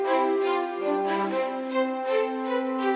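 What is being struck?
Nothing is struck.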